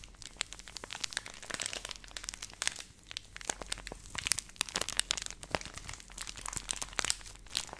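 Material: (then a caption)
Plastic. A hand-sized Nestle Everyday laminated plastic milk powder pouch, which appears filled, is crinkled and rubbed with long nails and fingertips close to the mic. Dense, bright crackling and sharp, dry clicks come in quick irregular bursts with almost no low end. The sound stays quiet and continuous throughout.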